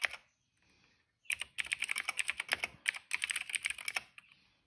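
Fingertips of both hands type steadily on a retro-style cream plastic mechanical keyboard with dark and purple plastic keycaps and a hollow case, resting on a rug. A brief clack is followed by a pause, then a rapid run of about twenty sharp, bright, clicky keystrokes with almost no ring, ending in one last tap.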